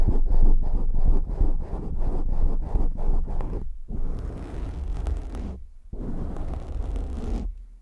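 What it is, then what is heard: Foam microphone windscreen being scratched. Hands cup a black foam windscreen on a microphone, then fingertips scratch it. Fast, rhythmic, muffled scratching pulses with a heavy low rumble give way to steadier rubbing noise broken by brief silences.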